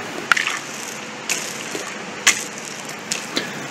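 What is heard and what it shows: A drag chain is swept across a concrete bridge deck over an area of sound concrete, producing a steady bright metallic rattle and scrape. Sharper clinks stand out now and then above it. The deck responds as sound concrete, not delaminated.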